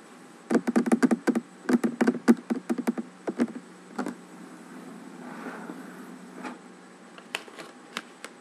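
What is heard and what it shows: Fingernails and fingertips tap and knock on a large, solid wooden tabletop in quick, dry clusters with a low woody body and a bright click on each strike. The tapping thins out, the hands slide softly across the surface with a faint rustle, and a few last isolated taps close the clip.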